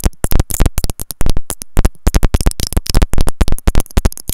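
Long nails tap and scratch the white plastic in-line remote and mic of a pair of wired earphones with a looped cable. The result is a rapid, uneven run of close, dry clicks and scrapes with a heavy low thump and very short decay.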